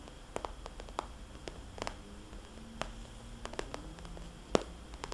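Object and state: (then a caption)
Vinyl cosmetics bag. Fingernails on both hands tap a small, glossy red polka-dot vinyl cosmetics bag, making soft, hollow taps. The quiet, irregular clicks are short and dry, with a midrange knock, one louder tap near the end, and a faint low hum underneath.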